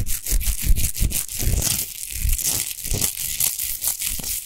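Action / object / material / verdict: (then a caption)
scrape / rock salt lamp / rock salt / none. Long nails scratch fast across a tall, rough-textured natural Himalayan rock salt lamp made of solid salt, unlit. The result is a dense run of gritty, crunching scrapes with a heavy low rumble under a bright, hissy grain, rising and falling in quick, uneven strokes.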